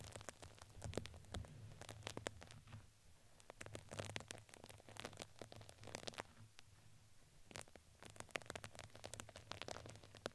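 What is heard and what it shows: A plastic spoolie brush is brushed across the fuzzy side of a red fuzzy fabric crinkly ring wrapped around a microphone head. It makes a soft, continuous scratchy rustle scattered with quick bright crinkly ticks over a faint low hum.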